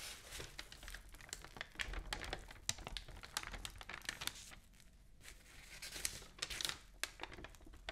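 An open newsprint newspaper lies spread flat while fingernails scratch and tap across its pages and the sheets are turned. Dense, bright crinkling and rustling mix with sharp, quick taps that die away almost at once, with a faint low rumble underneath.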